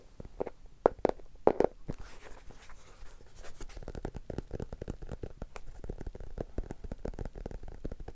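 Many rapid taps and light scratches, a few louder knocks near the start, each dying at once with a dull mid pitch around 480 Hz. The thick board cover and packed pages damp every tap, so nothing rings.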